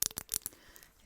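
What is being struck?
Small glossy candle holder.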